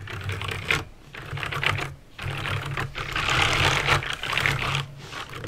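Fingertips with painted nails type on a backlit plastic mechanical keyboard with clicky green switches, producing rapid, irregular bright clicks in bursts separated by brief pauses. A steady low hum runs underneath the typing throughout.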